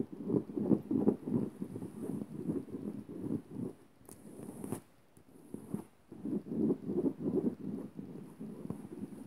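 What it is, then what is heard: Cotton bedsheet being scratched. Fingertips and nails scratch and rub a floral-print cotton bedsheet lying flat, making quick, dry scratching strokes with a soft, low-mid body. The strokes come in dense bursts, break off briefly around the middle with a faint, brighter hiss, then pick up again at the same brisk pace.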